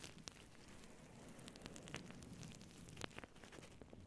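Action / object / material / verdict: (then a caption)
scrape / faux fur microphone windscreen / faux fur / none. Long nails scratch and rub a soft, hollow faux fur microphone windscreen with both hands. The result is a steady, quiet, crackling rustle with scattered sharp, bright ticks riding over a low, breathy hiss.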